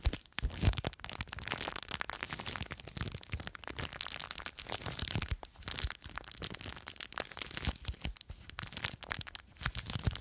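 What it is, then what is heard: Plastic bag of foam beads. Long nails scratch and squeeze a small clear plastic bag full of blue foam beads. The result is a dense, continuous stream of bright crinkling, crackling and crunching, with many short, sharp bursts of broadband noise.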